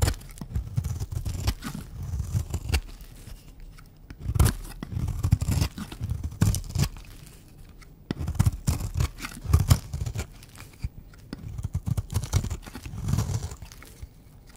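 A pink, round, solid bar of dry soap is held in the hand and scraped with a utility knife blade and scissors. Dense runs of dry, crunchy scraping and shaving come in four bursts, separated by short quieter gaps, each stroke short with no ring after it.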